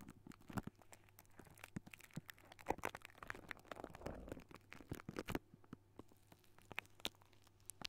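Fingertips with short nails on both hands scratch and tap the hollow silver wire-mesh metal grille of a large condenser microphone. Quiet, dense crackling scratches mix with sharp, dry clicks that stop almost instantly, over a steady low hum.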